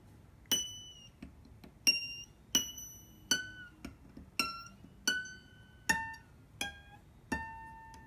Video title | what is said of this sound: The ping test - how to check your locking nut is working - Epiphone Alex Lifeson Les Paul Axcess | all these pitches are, they're dropping like rocks, right? Because this thing is moving